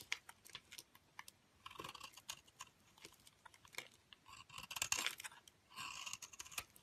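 A metal blade scrapes crumbly shavings and powder off the glitter edge of a cream solid soap bar held in a hand with dark long nails. The sound is quiet, bright and dry: quick crisp ticks and crackles mixed with several longer rasping, crunchy scraping strokes, with almost no low end.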